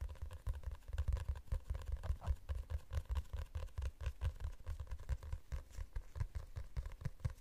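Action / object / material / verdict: scrape / glossy hardcover book cover / coated board / none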